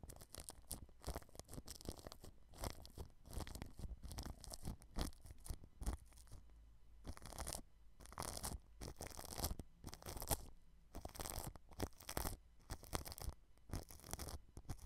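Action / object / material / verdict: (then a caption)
scrape / plastic cling film over a microphone / plastic film / none. A paintbrush tip rubs clear plastic cling film wrapped over a white microphone, brushing along the rim of the grille. Close, crinkly rustling and scratchy brushing come in repeated bursts with short pauses, with bright crackle over a heavy low rumble.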